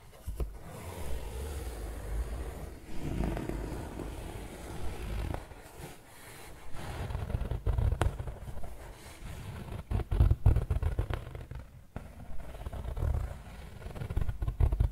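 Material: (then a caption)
Woven fabric. Fingertips and nails scratch a soft stuffed pillow covered in a yellow and grey coarse woven fabric. The result is a muffled, low-heavy rustling scrape that rises and falls in irregular strokes, with occasional sharper scratches standing out.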